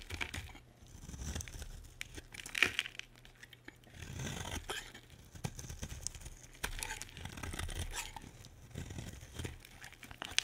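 A solid, dry pink bar of soap held in the hand is carved with a metal utility blade. Its crisp, bright scraping and cutting strokes tear and crunch through the soap in uneven bursts, over a faint low hum.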